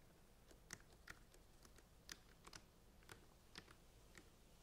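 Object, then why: Plastic centrifuge tube caps. Fingernails tap quickly on the blue plastic caps of plastic centrifuge tubes standing in a rack. The result is a quiet, uneven series of short, sharp clicks with bright, high edges and almost no ring, set over a soft low background hum.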